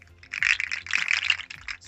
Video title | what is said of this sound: RANDOMtalks -- 3 -- silly lil rants | it just makes a little sound